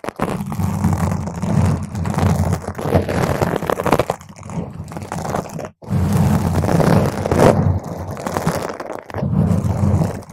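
Long pointed green acrylic nails on both hands scratch intensely at a purple spherical foam windscreen on a microphone. The result is a dense, crunchy, crinkling rumble heavy in the low end, with a brief near-silent gap around 5.8 seconds and a softer dip around 9 seconds.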